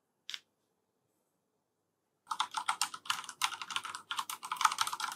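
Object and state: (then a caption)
Plastic mechanical keyboard being typed on. A full-size black plastic FILCO Majestouch 3 mechanical keyboard with Cherry MX Brown switches is typed on with the fingertips of both hands. A single short keystroke is followed by about two seconds of silence, then a fast, steady run of bright, clacky key presses continues to the end. The clicks are crisp and dry, centred around 1.2 kHz with high treble and almost no low end.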